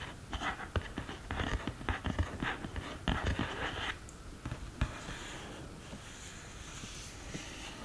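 Long green nails tap and scratch the pans and case edges of an open cardboard eyeshadow palette. Quick, irregular clicky taps mix with bright scratchy rasps, busiest in the first four seconds, then a softer, hissy scratching.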